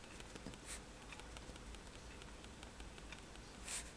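A fineliner pen tip taps against a flat sheet of white drawing paper resting on a table, making dots. Quiet, bright little ticks sound irregularly over a steady low hum, with a slightly louder tap near the end.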